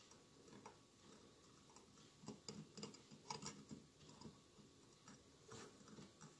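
Fingertips of two hands tap and scratch the outer surface of a mid-sized hollow glass votive holder covered in a glued mosaic of colored glass tiles, with a lit candle inside. Quiet, short glassy ticks with a faint ring near 1 kHz and bright edges stand out over a soft, steady scratching hiss, clustering into quicker bursts in the middle.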